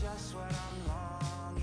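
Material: Nothing is struck.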